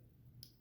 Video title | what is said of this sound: Benchmade Freek | if you thumb flick it, you can hear a little bit of stick, and even a slow roll, sometimes it sticks